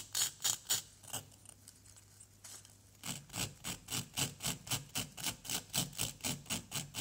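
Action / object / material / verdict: scrape / plaster block scratched with a wooden stick / plaster / none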